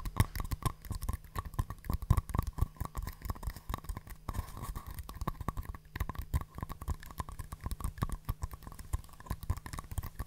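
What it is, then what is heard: Paper cups tapped. Two small, empty, hollow paper cups, green outside and white inside, are held open-end out near the mic. Fingertips and long nails tap and rub them, and the cups are knocked against each other. The result is a dense stream of dull, low, hollow taps with quick scratchy rubbing and no ring.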